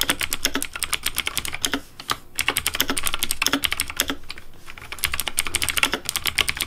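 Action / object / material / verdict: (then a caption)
tap / plastic mechanical keyboard / plastic / none. Fingertips type rapidly on the plastic keys of a pink Razer DeathAdder V3 Pink mechanical keyboard, producing a dense stream of crisp, bright clacks with a light low thump beneath. Each keystroke dies away almost instantly, and the typing pauses briefly around two seconds and again near four and a half seconds before continuing.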